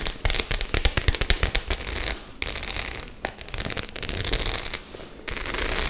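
Long nails rub and scratch over the metal studs of a white, medium-size studded faux-leather clutch bag that seems empty and soft. Rapid, bright clicking scratches come first, then a steadier raspy scraping with brief pauses. A dense, crackly texture carries on throughout.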